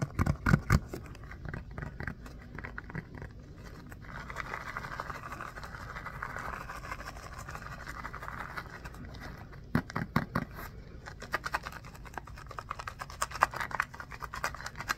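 Fingertips and short nails scratch and squeeze a small, solid orange polyurethane foam stress ball with a basketball texture. Quick, dry taps and scratches open the clip, followed by a steady, soft midrange rasp from the nails dragging across the textured surface. Sharper clicks and taps return later over a low, muffled rumble.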